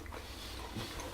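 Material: Nothing is struck.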